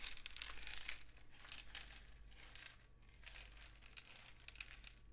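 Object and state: Cardboard rainstick.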